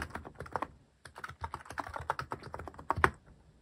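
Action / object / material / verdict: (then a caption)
tap / mechanical keyboard with plastic keycaps / plastic / none. Fingertips type quickly on a cream plastic-cased mechanical keyboard fitted with cat-themed plastic keycaps, producing rapid, crisp, short clacks with a mid-range tone. After a brief pause about a second in, the typing resumes and ends in one slightly louder cluster of keystrokes.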